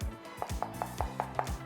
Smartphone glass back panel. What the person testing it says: มันจะแน่นแล้วมันจะแข็งไงแน่นตับเลย